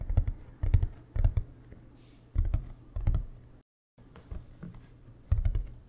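Fingertips tap on the ridged shell of a large beige hard-shell plastic suitcase, hollow and held close to the mic. Quick, clustered taps give short, deep, boomy thuds with a brief click on top, with a short silent gap midway.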